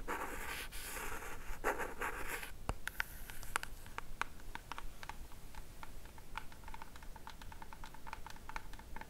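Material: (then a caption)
Cardboard. A small pink cardboard Hey Happiness jewelry box with a gold logo is held in the hands and tapped with long matte black nails. A few seconds of soft scratchy rustling give way to a steady run of quick, crisp, dry taps.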